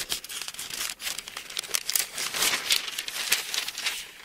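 Fingers pinch and flip the thin paper pages of an open Bible, then a hand rubs the page flat. The sound is a crisp, bright papery crinkling and rustling in quick, irregular bursts, with almost no low end and no ring after each sound.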